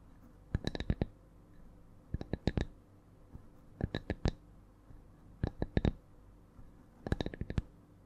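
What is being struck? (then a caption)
Thin wooden log slice with bark edge. Long nails of both hands tap a thin, solid round wood slice with a bark edge, held flat above the mic. Five bursts of quick, sharp clicky taps come at an uneven rhythm with pauses between them. Each tap is dry and short, with a bright click over a soft low knock.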